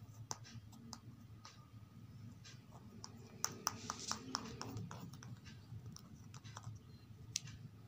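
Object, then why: Paperback book with glossy card cover. Long acrylic nails and fingertips tap, scratch and trace over a thin paperback children's reading book, "In the Garden," with a glossy card back cover, lying flat on carpet. Quick, irregular sharp clicks and light taps ring with a faint tone near 1.2 kHz and die away almost instantly. Bright scratchy swishes run beneath them over a steady low hum.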